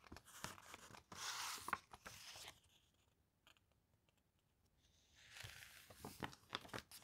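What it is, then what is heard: Paper brochure pages being flipped. A glossy paper brochure is held open while its pages are flipped and fanned with fingertips and long nails. Soft crinkly, bright rustling bursts are broken by sharp little ticks and snaps. The sound fades to near silence for a few seconds in the middle, then the rustling and tapping pick up again.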